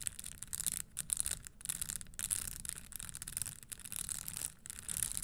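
Long acrylic nails scratch and tap across the dense small spikes on the upper of a red studded leather Christian Louboutin stiletto pump lying on a wooden table. The result is a quiet, continuous, bright scratchy rustle with rapid clicking over a faint low rumble.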